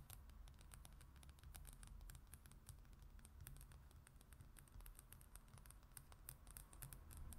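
Long acrylic nails scratch and tap the glossy printed paper cover of a travel magazine lying flat, using both hands. Quiet, rapid, bright clicks and scratchy taps patter continuously over a steady low hum.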